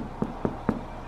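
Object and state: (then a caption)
Baked-through sourdough loaf, hollow. Three quick knocks on the back of a finished sourdough loaf, baked in a cast-iron pot, give a short hollow, dull thud each time, with almost no ring. The hollow sound shows the loaf is baked through, though it turned out a little dense from over-proving.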